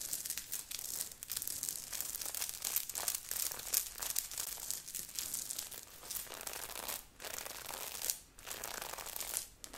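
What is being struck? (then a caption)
Knit sweater with sequined patch. Long nails of both hands scratch fast over a grey knit sweater with a beaded, sequined heart on the chest, worn on the body. A dense, bright, crinkly rasp runs almost continuously, with a few brief pauses, and hardly any low end.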